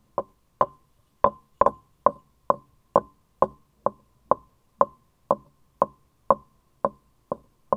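A light, turned wooden vase-shaped vessel with grooved rings, likely hollow, is held in hands with long lilac nails and knocked with a small wooden mallet and tapped with the nails. Seventeen short, dry, hollow knocks sound at a steady pace, each with a woody tone around 550 Hz and a brief ring that dies away almost at once.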